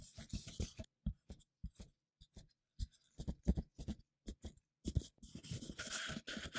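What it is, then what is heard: Cardboard tube. A plain, hollow, empty brown cardboard tube about the size of a paper-towel roll, held close, is tapped and rubbed with black-gloved fingertips. Quick, dull, hollow taps come in short bursts separated by silence. They give way at the end to a denser, brighter scratching rub.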